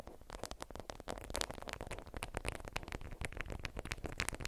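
A watermelon-print bundle of beeswax-coated cotton food wrap is held in both hands, then squeezed and scratched with long acrylic nails. The result is a dense run of crinkly, stiff-fabric crackles with quick, bright scratchy transients over a low rustle.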